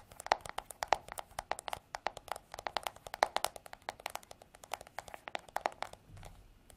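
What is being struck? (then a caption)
Plastic back of a paddle hairbrush. Long artificial nails tap rapidly on the smooth, white, hollow plastic back of a paddle hairbrush held horizontally. Dozens of short, dry clicks follow one another unevenly, each with a hollow tone around 800 Hz, a bright edge and almost no ring. A faint low rumble appears near the end.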